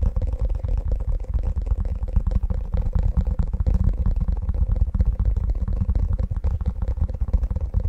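An empty, flexible, light teal silicone ice cube tray with hollow square cavities is held in both hands while fingertips tap and scratch its underside and edges. A dense, continuous stream of soft, deep, muffled thumps and rubbery scratching comes through, with a faint steady hum in the midrange.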